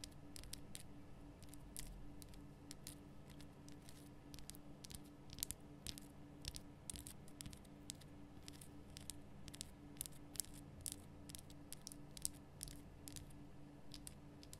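Long nails tap the top and sides of a large, rough, glowing pink Himalayan rock salt lamp, a solid salt block. Many quick, sharp, bright clicks with almost no ring ride over a quiet, steady low hum.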